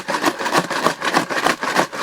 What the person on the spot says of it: Aku bisa merasakan suara dentuman itu di sini. Sepertinya ada alas penyangga di sini.